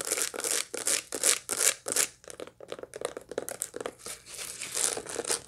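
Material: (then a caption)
Dried seeds. Long light-blue nails scratch across the seeds of a dried sunflower head still holding its seeds, making dry, bright, crackly rasps. The strokes come in quick, uneven bursts: broad, louder sweeps at first, then shorter, lighter scrapes.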